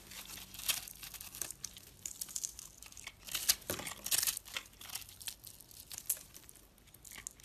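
A utility knife blade cuts and scrapes crumbling chunks from a hand-sized, dried, solid yellow-orange soap bar that is crumbly and porous and held in the fingers. Dense, bright crinkling and crunching scrapes come in irregular bursts with short, dry attacks, over a quiet background.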